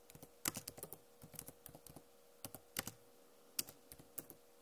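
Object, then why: Plastic laptop keyboard keys. Fingernails tap across the plastic keycaps of a backlit Acer laptop keyboard in a quick, irregular run of sharp, bright clicks. Each tap is crisp and dies away at once, with a faint steady hum beneath.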